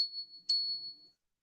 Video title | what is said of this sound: Monday Night Metals | this is like a chime